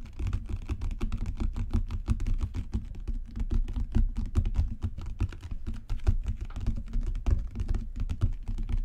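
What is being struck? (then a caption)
Leather book cover. Fingertips and long natural nails rapidly tap a solid dark brown genuine leather book cover with raised spine bands. The result is a dense, uneven stream of dull, low, padded thuds with faint clicks over about nine seconds. Each tap dies away almost instantly.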